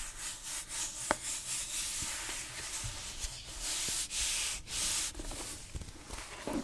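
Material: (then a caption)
Cloth. Long nails and fingertips rub and scratch the cover of a grey fabric-covered hardcover book held close to the microphone. The result is a steady, bright, hissy scraping texture in repeated strokes, with one brief sharp tick early on.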